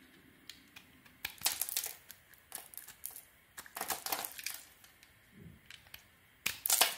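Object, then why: Bar of soap scraped with a thin metal blade. A palm-sized, solid cream-colored bar of soap is held in one hand while a thin metal blade in the other hand, which has a bandaged finger, shaves and scrapes its surface. The result is bright, dry scraping and crisp crackling in short bursts and longer strokes. Soap curls and crumbs fall away.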